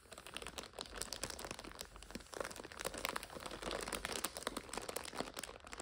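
Long nails scratch and crinkle the clear plastic overwrap of a full purple instant noodle 5-pack resting on a sofa. A dense, continuous run of bright, crackly crinkles and sharp scratchy ticks plays with little low end, swelling slightly louder in the second half.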